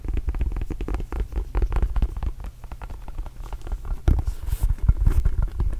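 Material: Rubber.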